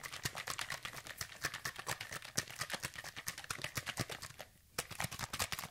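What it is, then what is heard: Plastic spray bottle containing liquid. A hand-sized, hollow orange plastic sunscreen spray bottle containing liquid is held in the fingers and shaken rapidly near the microphone. Quick, bright slosh-and-tap pulses come in a dense, uneven stream, with a brief quiet gap near the end before the shaking resumes.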